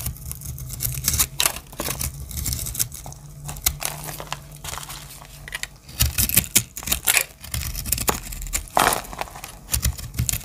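A solid teal-and-black chipped dry soap bar, held in the hand, is cut with a small metal blade. Dense, bright crackling and scraping bursts fill the clip over a steady low hum, and flakes crumble off the bar.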